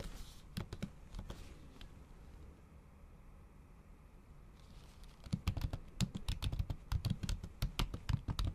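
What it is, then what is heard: Laptop keyboard with plastic cover. Long acrylic nail tips tap fast and repeatedly on a MacBook keyboard whose solid keys sit under a thin pink patterned plastic/silicone cover. A few scattered, dull, short clicks open the clip, then a near-silent pause follows. From about five seconds, a denser, louder run of quick, low, muffled keystrokes ends it.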